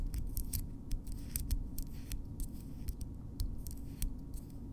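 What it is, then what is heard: Natural fingernails tapping. Long natural fingernails of solid keratin on both hands are tapped and clicked against each other up close, making a rapid run of sharp, bright clicks. The clicks sit over a steady low rumble, and each one dies away almost instantly.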